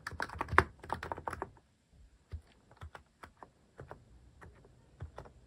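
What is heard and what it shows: A cream plastic-case mechanical keyboard with cat and paw-shaped plastic keycaps is typed on with fingertips, its keys pressed repeatedly. A quick burst of dense, clacky keystrokes with a slight ringing tone opens the clip, then slows into sparser, separate, short plastic clicks with a low thud.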